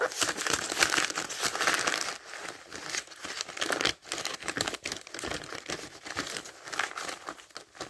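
Fingertips lift and turn the thin pages of a thick paper dictionary, producing a dense, bright crinkling rustle with almost no low end. The rustling is loudest in the first two seconds, pauses briefly near the four-second mark, then continues as softer, uneven page flutters.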